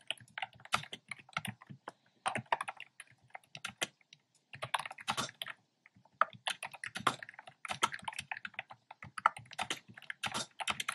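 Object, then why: Plastic keyboard with round keycaps. Fingertips type steadily on a black plastic keyboard with hollow, round, retro pastel keycaps. Quick, sharp, clacky taps come in dense bursts with brief pauses between runs. Each keystroke has a bright, dry attack that stops almost instantly.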